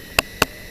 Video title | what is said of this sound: MENJELAJAHI HUTAN DAN MENCARI TANAMAN HUTAN YANG BISA DIJADIKAN HERBAL/OBAT ALAMI | Ini kalau saya lempit tadi dia berderak. Ketika saya putus juga dia berderak.